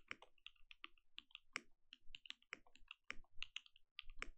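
A compact mechanical keyboard with plastic keycaps and a glowing case is typed on with the fingertips of both hands. A quick, uneven run of short, sharp keystrokes sounds, each a crisp click centered around 2.3 kHz with bright edges and a soft low thud underneath. Every keystroke dies away almost instantly.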